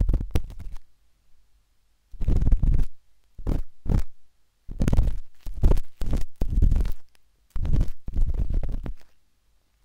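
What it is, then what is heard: Silicone microphone ear scraped. A metal-tipped dot stick with a wooden handle scratches inside the soft, hollow canal of a pinkish-white silicone binaural microphone ear. The result is deep, muffled, rumbling scrapes in short bursts, separated by near-silent pauses.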